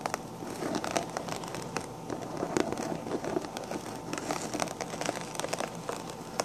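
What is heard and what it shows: Long black-painted nails scratch the sequins on the crown of a pink sequin-covered fabric hat with a hollow crown. The result is a steady, dense crinkling and crackling texture, dotted with sharp little clicks and bright scratchy transients.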